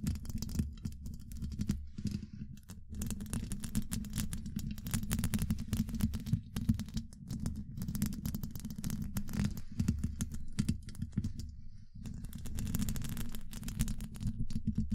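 Long pointed acrylic nails scratch a hollow woven steel mesh microphone grille, making a dense, continuous run of low, muffled scraping and rasping with faint bright crackle on top. The scratching carries on steadily for the whole clip, briefly thinning around the two- and twelve-second marks.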